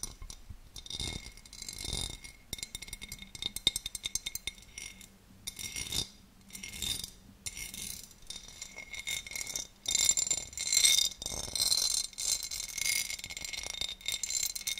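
A large, empty oval serving dish of clear cut glass with a textured pattern is held close to the mic and scratched and tapped with long, dark-painted nails. Irregular bright clicks and crisp scratching fill the clip, with short glassy chinks that die away almost instantly and a faint steady tone near 2 kHz beneath them.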